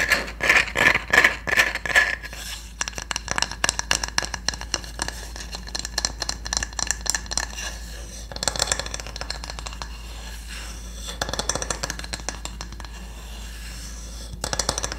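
A solid, flat wooden cooking spatula is scraped and tapped with long nails. Quick, bright clicking taps around 2 kHz open the clip, followed by a long stretch of dense scratching with scattered louder bursts. A steady low hum sits underneath throughout.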